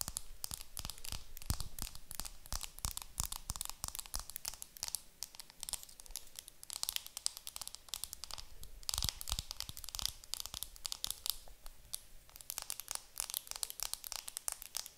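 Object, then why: Makeup compact wrapped in plastic film. Long nails tap and scratch the clear plastic film wrapped around a round, pearly makeup compact held in the hands. The result is a dense, steady stream of quick, dry crinkles, ticks and scratchy rustles with a bright, high edge and faint low thumps beneath.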